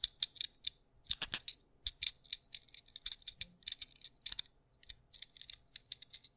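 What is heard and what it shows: A small white plastic anti-stress fidget cube with black dots is held in the fingertips near the mic while its buttons and switches are clicked and flicked. The result is a quick, uneven series of sharp, dry, bright plastic clicks in short bursts, with almost no low end and no ring after each click.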